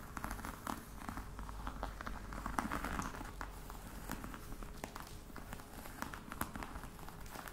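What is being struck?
Box covered in embossed faux leather.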